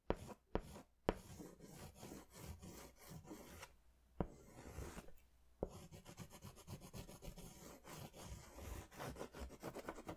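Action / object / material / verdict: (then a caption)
scrape / paper sketch pad rubbed with a crayon or pastel / paper / none. A crayon or pastel is rubbed in circular strokes over a large paper sketch pad held upright, including over its coloured centre. The result is a soft, continuous scratchy rubbing with a steady low body and a faint airy hiss, broken by a few sharp, brief clicks near the start and middle.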